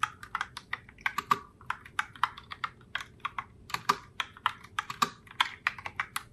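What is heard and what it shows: A pink Logitech Pop Keys mechanical keyboard in the Heartbreaker Rose color, with round plastic keycaps, is typed on continuously by both hands with long blue-tipped nails during a typing test. About 32 quick, bright plastic clacks centered near 1.2 kHz, each dying away almost instantly, come in an uneven, rapid rhythm, with occasional louder strikes.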